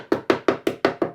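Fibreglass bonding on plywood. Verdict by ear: Detached.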